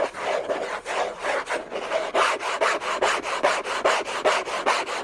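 Short nails on a hand wearing a thin bracelet scratch hard and fast across the hollow lid of a large, flat, orange Hermès cardboard gift box. The result is a steady run of dry, rasping strokes, a little over two per second, with a papery midrange body and a bright hiss, each stroke cutting off quickly.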